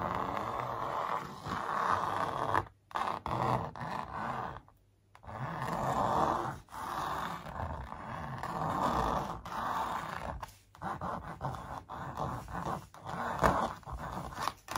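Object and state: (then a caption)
Stretched canvas print scratched with nails. Long nails trace and scratch along the printed lines of a large, hollow-backed canvas print stretched on a wooden frame. The result is a steady, dry rasping scrape centered in the midrange, with a faint low drumming from the hollow canvas. The strokes run in long passes broken by a few short pauses.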